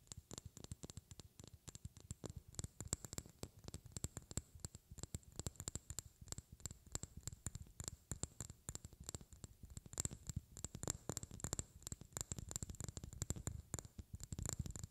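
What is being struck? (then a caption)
Small glass vial. A small, clear, hollow glass vial or tube that appears empty is held in both hands close to the mic and tapped and scratched with long painted fingernails. Quick, dense clicks and taps carry a bright, high glassy tinkle over soft low thumps from the handling. Brief scratching runs through the taps throughout, all at a quiet level.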